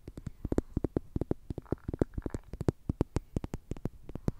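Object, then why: Plastic tube toy. A slim orange plastic tube toy with a green end, likely hollow, is tapped and scratched with long nails. A rapid, uneven run of short, dry, hollow clicks plays throughout, with a soft scratching rasp in the middle.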